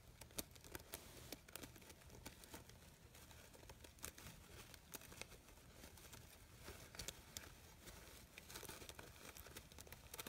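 A hand-sized artificial red poppy flower with crinkled thin fabric petals and yellow stamens is scratched and rustled by long pink nails. Quiet, continuous crinkling and rustling fills the clip, broken by many short bright scratchy ticks over a soft low hum.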